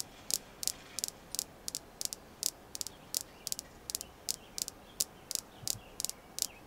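Long nails tap and scratch a small, solid, polished red jasper star stone. A steady series of quick, bright clicks follows, some in close pairs, with almost no ring and no low end, over a faint hiss.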